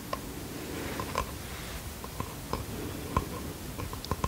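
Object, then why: Small bamboo wooden box. Fingertips and nails tap and scratch a small bamboo wooden box held in the hands, with seven distinct short, clicky taps spread across a soft, continuous scratching texture. Each tap dies away almost at once, with a light woody tone over a low, muffled rustle.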